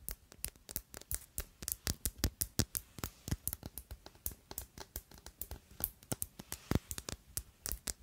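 Long acrylic nails tap and scratch a small rectangular black glass Si perfume bottle with a rounded black cap, hollow and partly full. About 40 quick, unevenly spaced, bright clicking taps fade almost instantly, with faint scratching between them.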